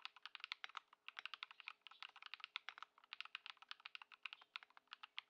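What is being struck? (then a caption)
Mechanical keyboard with plastic keycaps. A compact Ducky One 2 SF mechanical keyboard, modded with Lumia Matcha switches and Poron foam and fitted with white plastic keycaps, sits on a wooden desk while someone types continuously with the fingertips of both hands. About 37 keystrokes land in quick, uneven succession, each a short, bright, crisp clack with almost no low end and no lingering ring.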